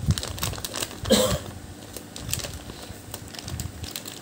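A small yellow M&M's peanut bag of thin plastic film, filled with candies, is held in both hands while fingertips crinkle and squeeze it, then tear it open. Dense, irregular crackling and rustling runs throughout, with one louder, brighter burst just after the first second before settling back into softer crinkles.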